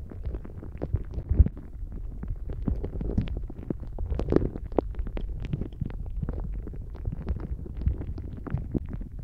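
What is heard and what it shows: A palm-length, translucent blue soft rubber dolphin-shaped squishy toy filled with gel water beads is held in both hands and bent and squeezed with the fingertips just above a microphone. Close, low, wet squelching and gurgling rumbles are heard, with a steady stream of short, soft pops and crackles from the shifting beads throughout.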